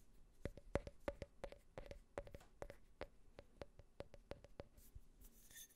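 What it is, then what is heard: Glass tumbler tapped with fingernails. Fingernails scratch and rub the outer wall and rim of a small, empty glass tumbler with a US flag print, with a few taps mixed in. The result is a quick run of short, dry clicks, many carrying a faint glassy tone near 560 Hz. It ends in a brief, bright rubbing hiss.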